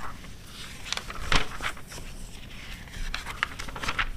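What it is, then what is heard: Glossy paper magazine pages being flipped and scratched. Long red-nailed fingers flip and smooth the pages of an open glossy paper car magazine from 2009, giving a soft paper rustle and scratch. Brief crisp, bright scrapes stand out over a low, steady rumble.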